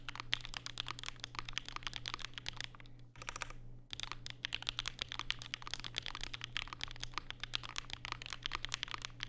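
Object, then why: Mechanical keyboard with plastic keycaps. Fingertips type continuously on a compact black Vega mechanical keyboard with Durock POM switches and plastic keycaps, sitting on a desk mat with a white wrist rest. Rapid, crisp clicky taps with a bright clack centred around 3 kHz run steadily over a low, constant hum. There is a brief lull a little past three seconds before the typing resumes.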